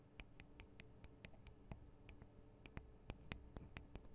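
Long acrylic nails tap rapidly on the two small hollow microphone capsules of a Tascam DR-40 recorder, with their metal and plastic housings. A quick, uneven run of sharp, bright, dry clicks sits over a quiet, steady low hum, each tap dying away almost instantly.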